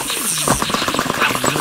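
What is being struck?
Nothing is struck.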